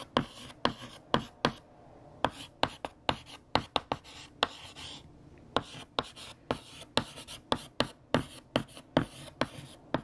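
A hand writes on a large, flat, solid black chalkboard with a teal chalk stick, making about 25 sharp scratching and tapping strokes in quick, uneven rhythm. Each stroke is a brief, bright click-scrape that stops almost instantly, with quiet gaps between.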